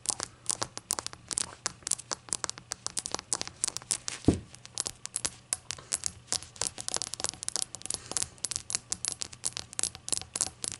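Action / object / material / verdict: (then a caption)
tap / small glazed ceramic shot glass / glazed ceramic / none. Long acrylic nails tap quickly and continuously on the base and body of a small, hollow, rainbow-glazed ceramic shot glass resting on a towel. Each tap is a short, bright click with almost no ring. Near the middle there is one louder, deeper knock.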